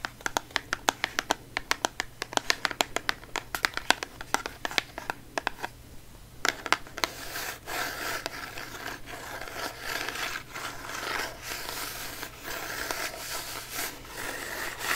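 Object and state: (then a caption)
Cardboard box. A small, hollow, orange printed cardboard cosmetic box is held in both hands close to the mic and tapped with long manicured nails, giving a quick run of sharp, dry, bright clicks with almost no ring. After about seven seconds it shifts to steady, hissy scratching with the nails and rubbing with fingertips, a continuous rasp that swells and dips.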